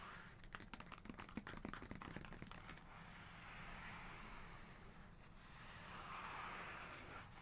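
Long nails and fingertips of both hands rub and scratch back and forth over a large glossy photo page in an open hardcover photography book, always the same page. For the first three seconds there is a quick, uneven run of short, dry scratching clicks. These give way to a softer, continuous papery rubbing that swells and fades across the page.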